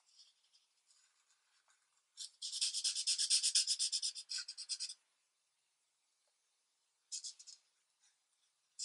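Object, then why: Felt-tip marker on a thin paper sheet. A felt-tip marker, held by a hand with long red nails, is rubbed in repeated short scribbling strokes across a thin paper coloring sheet lying flat on a light pad. Faint scattered scratches give way to a loud burst of rapid, bright, raspy strokes, followed by silence. A shorter burst of scribbling comes near the end, all high-pitched with no low end.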